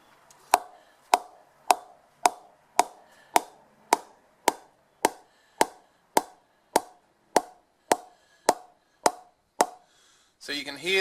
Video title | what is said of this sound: Laver and Wood Mid-High Mega Reserve Cricket Bat Review | metallic sound it's got really good ping to it